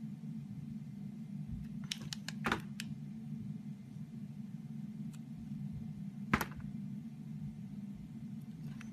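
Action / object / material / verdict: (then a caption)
scrape / bar of soap scraped with a blade / soap / none. A utility knife blade scrapes and shaves the surface of a solid, hand-sized red Palmolive soap bar held in the hand. Short, sharp scraping clicks cluster early and return as a louder scrape near the end, over a steady low hum.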